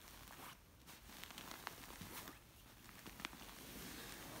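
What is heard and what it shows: Long nails scratch and a flat hand rubs a large, soft stuffed orange silk pillow covered in silky fabric. The result is a quiet, steady scratchy rustle of bright hiss, broken by a few brief, sharp ticks.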